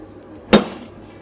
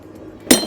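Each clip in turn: First: One sharp hammer blow on an iron plate: a bright clank that dies fast; the metal dents rather than breaks. Second: One hard hammer blow gives a bright, glassy crack that breaks up fast: the alumina ceramic plate shatters.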